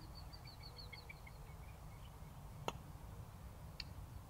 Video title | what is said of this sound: BENROSS TRIBE PUTTERS | there's definitely a harsher sound to it and a harsher feel as well